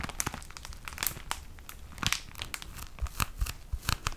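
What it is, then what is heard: Plastic-wrapped tissue pack. A plastic-wrapped pack of tissue paper is squeezed and crinkled by hand. Dense, irregular crinkling fills the clip, with sharp, bright crackles and pops over a low rumble. Each crackle cuts off quickly, leaving a steady rustle between the louder snaps.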